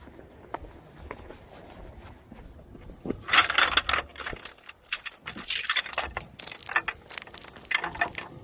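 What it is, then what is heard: Metal scrap object. A found scrap item by the roadside is handled and tapped to check whether it is metal or plastic. After about three quiet seconds, it gives off irregular bursts of sharp, bright ticking and clicking with very short ring. It turns out to be definitely metal.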